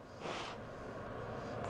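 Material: Nothing is struck.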